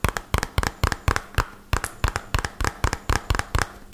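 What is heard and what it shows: A small, hollow white-and-purple printed cardboard medicine box is held upright and tapped rapidly with fingertips and short nails. About 18 quick, dry taps land in uneven pairs and bursts, each a hollow low thump with a brief bright click that dies away almost instantly.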